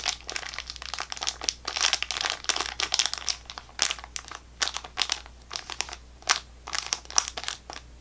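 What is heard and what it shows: A small sealed Welch's Fruit Snacks bag made of plastic film and full of gummies is tapped and scratched with long fingernails and crinkled. Quick, dry, bright crackles and scratchy bursts come in irregular clusters with brief quiet gaps, each sound stopping instantly without ring. A faint steady low hum sits underneath throughout.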